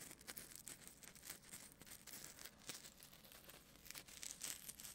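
A small, white, solid styrofoam ball is held in one hand near a binaural microphone while fingertips and nails scratch and tap it. The result is a quiet, dense run of bright, dry scratching and crinkly ticks with very little low end.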